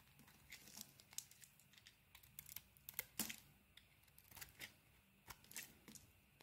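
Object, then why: Bar of soap. A utility knife blade scrapes white curls off a hand-sized solid pink and white bar of soap held in the palm. Quiet, bright, crisp scraping and crackling strokes come in irregular bursts over a faint low hum.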